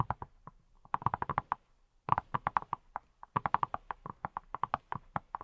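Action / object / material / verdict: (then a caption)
tap / silicone brush tapped with rubber-padded fingertips / silicone / none. A hand-sized, hollow-looking yellow silicone pineapple-shaped brush is held in both hands and tapped with fingertips wearing silicone rubber pads. Around thirty quick, soft, hollow taps come in three bursts separated by short pauses, each with a muffled tone near 1 kHz that dies away almost instantly.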